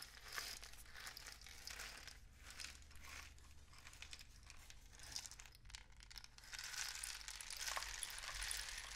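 A long, hollow, painted cardboard rainstick is held diagonally in both hands and tilted so its filling falls through the tube. It makes a continuous bright, crinkling patter like rain that swells and fades in waves, growing loudest toward the end over a steady low hum.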